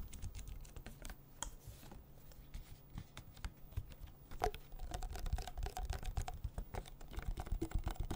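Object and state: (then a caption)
Plastic water bottle. A small, clear, ridged plastic water bottle with a cap, hollow inside, is tapped and scratched with nails and fingertips. A quick patter of dry, clicky taps and soft scratches runs throughout, with a faint steady low hum beneath. It grows louder and busier after a sharper tap near the middle.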